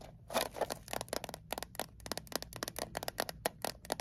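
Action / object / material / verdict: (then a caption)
tap / small closed metal mint tin / metal / none. A small, closed, hollow metal Altoids mint tin, held upright in both hands, is tapped and scratched quickly with long acrylic nails. About 20 short, dry, bright clicks with a hollow metallic tone come in rapid uneven bursts with brief scratchy textures. Each tap dies almost instantly over a faint low hum.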